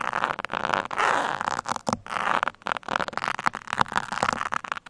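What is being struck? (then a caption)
Foam microphone windscreen. Steel pins poke and scratch the top and sides of a black foam microphone windscreen. The result is a dense, close-up scratching and crackling with bursts of midrange rasp and brief quiet gaps between strokes.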